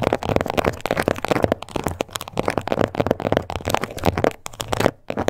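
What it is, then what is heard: Textured leather card holder. Long nails tap and scratch close up on the surface of a small pink croc-embossed leather card holder. It makes a dense run of quick, dry clicks and raspy scratches, centered in the mid range with no ring, and briefly pauses near the end before it resumes.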